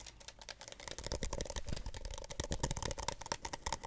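A plastic Solo cup is tapped softly with quick, rapid taps, and a little whispering is heard over them. The taps are dry, short clicks with a hollow plastic tone around 900 Hz and a brighter upper edge.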